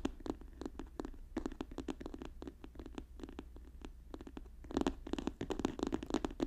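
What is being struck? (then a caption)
Paper notebook. A paper notebook is tapped and scratched quickly with fast, dry, short taps that barely ring, over a steady low hum. The taps come in rapid runs and grow louder and denser toward the end.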